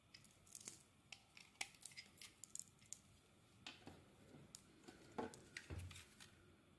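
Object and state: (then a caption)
Bar of soap being carved. A translucent white solid bar of soap, held in the palm, is scraped with a blade into fine shavings. The result is a quiet, irregular run of short, crisp, bright scraping ticks and soft crackles, with a few louder cuts standing out near the middle and end.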